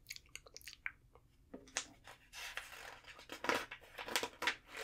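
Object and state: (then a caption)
Glossy paper magazine pages. Thin pages of an open glossy trade magazine on a table are flipped by hand, with long nails catching the page edges and palms then rubbing flat over the pages. Quick, crisp ticks and taps give way to longer bright papery swishes and rustling rubs, quiet and close.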